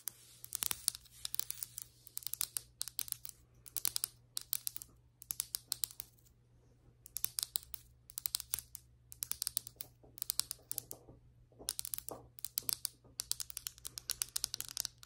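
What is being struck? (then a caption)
Ceramic floor tile. Long white acrylic nails on both hands tap and scratch across large, flat, solid ceramic floor tiles with grout lines. Rapid bursts of bright, sharp clicks and light scratching come in clusters separated by brief pauses, over a faint steady low hum. Each tap is dry and dies away almost instantly.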